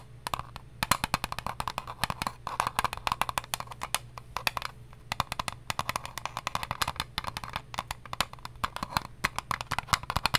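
An eyelash case is tapped in rapid, uneven bursts of short, dry clicks, each bright and centred around 1 kHz with almost no ring. Brief pauses break the tapping near 2.4 and 4.7–5 seconds, while a faint steady low hum runs underneath throughout.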